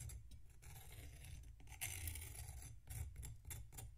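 A metal knife scrapes and slices into a solid packed sand block resting on a plate, making gritty, crunchy rasping strokes. Bright, grainy scraping bursts ride over a steady low rumble, with a louder crunching stretch near the middle before quieter scrapes continue.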